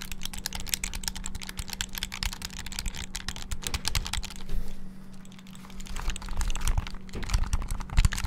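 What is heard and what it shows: Fingertips rapidly click the buttons of a small black plastic flip-open clamshell handheld game console held close to the mic. The result is a dense run of sharp, dry, bright clicks with a steady low hum underneath. The clicking briefly thins out near the middle before picking up again.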